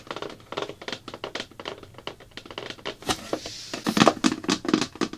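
Fingertips and then long black nails tap rapidly on a thin, hollow-backed, round blue plastic bucket lid, making a quick run of short, dry, hollow taps in the mid-range. A brief scratchy hiss comes midway, and the later nail taps are sharper and brighter.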